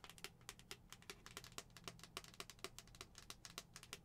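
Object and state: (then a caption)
Plastic skull cup. Long acrylic nails tap rapidly on the face and pink lid of a hollow white plastic skull-shaped cup. About two dozen short, bright, clicky taps land in quick succession, each with a faint hollow body and almost no ring. A low, steady hum sits underneath.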